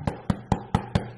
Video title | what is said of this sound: why i moved out of hollywood | it feels like a cement brick